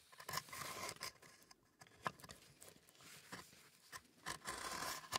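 A gloved hand scrapes a thin wooden stick or spatula inside the compartments of an old, hollow, empty wooden stamp box with a slatted section, standing on its side while the other hand holds it. Dry, bright scraping and scratching comes in uneven bursts with sharp clicks between them, thin in the low end. A faint steady tone near 1 kHz runs underneath.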